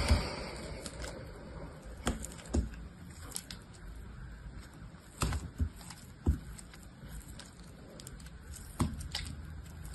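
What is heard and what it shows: An orange box-cutter blade cuts and scrapes thin slices off a palm-sized, solid blue soap bar held in one hand, its surface wet and foamy. Soft, low, muffled scraping runs throughout, broken by sharp, brief cutting clicks and snaps that stand out from the quiet background.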